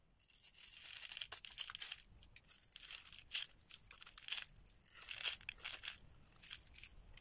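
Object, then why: Soap bar cut with a metal blade. A solid orange oval bar of dry soap, held in the hand, is scraped and cut with a metal blade, shedding crumbly shavings. Bright, dry scraping and crackling comes in repeated bursts with short pauses between them, with almost nothing in the low end.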